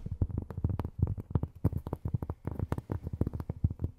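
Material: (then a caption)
Cork. Long fingernails tap rapidly on cork, making a quick, uneven run of soft, dull taps. Each tap is low and muffled, with a brief thud around 100 Hz that dies away almost instantly, and no bright edge.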